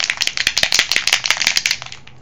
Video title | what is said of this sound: Kitchsy Art Recipe Tags with Sharon Laakkonen | really shake it up you can hear the marble in there